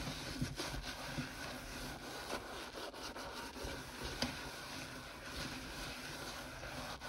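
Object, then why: Stainless steel kitchen sink. A hand in a yellow rubber glove scrubs a sponge over the wet, soapy steel of a large stainless steel kitchen sink basin near the drain. The result is a steady, broadband rubbing and scraping sound with faint squeaks, and two sharper accents stand out, one near the start and one past the middle.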